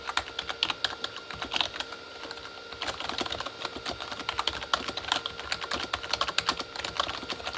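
Both hands type with their fingertips on a full-size Corsair K35 backlit keyboard, with plastic keycaps on a hollow plastic body. The result is a steady stream of short, bright, clicky taps with almost no low end, easing into a softer lull around the two-second mark before picking up again.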